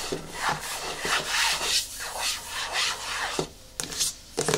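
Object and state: Plastic jar, nail scratching.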